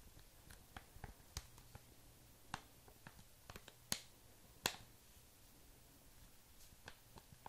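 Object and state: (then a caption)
Foil mask sachet tapped with nails. A flat, hand-sized laminated plastic/foil sachet of Pedi Patrol repairing foot masks, filled with a thin sheet mask, is held up in both hands and tapped with fingertips and short manicured nails. Quiet, bright, clicky taps come at an irregular pace, each dying away almost instantly, with a few sharper, louder clicks standing out over a faint, steady background.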